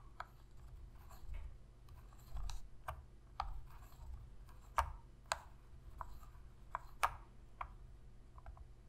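Long nails click the buttons and tap the body of a black, hollow plastic PlayStation controller. About ten sharp, dry clicks and taps come at an irregular pace, each centered in the midrange and cut off almost instantly, over a quiet low background rumble.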